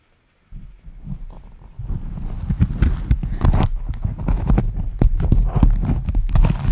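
A striped beeswax-coated fabric food wrap, pressed into a stiff hollow dome and held in both hands, is tapped and scratched with fingertips and nails. After a brief silence, soft low taps begin and grow louder and denser into quick, uneven, hollow clip-clop-like knocks mixed with faint scratchy rustling.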